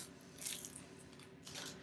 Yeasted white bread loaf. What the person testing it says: Listen to that beautiful hollow sound.